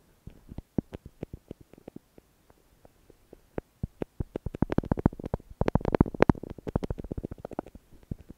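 A red lipstick in a silver metal case, held by the fingertips, is pressed and smeared back and forth over a thick layer of red lipstick on white tape covering a small plastic earphone microphone remote. It makes irregular sticky clicks and scratchy rubs, sparse and soft at first, then growing denser and louder toward the middle and end. The sound is dull and low-heavy, with no lingering ring.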